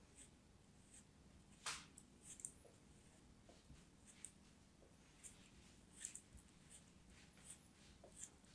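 A knife blade scrapes and slices crumbly sand from a small solid orange kinetic sand cone held between fingers with long white nails. Soft, bright, crisp scraping crunches come in short separate bursts over a quiet, steady low hiss.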